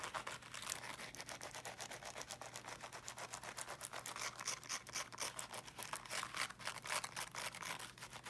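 Fingernails scratch quickly across the woven fabric mesh of a small teal, box-shaped object, likely a portable speaker, held in both hands. The result is a fast, steady run of bright, dry, crackling scrapes, with a faint low hum underneath throughout.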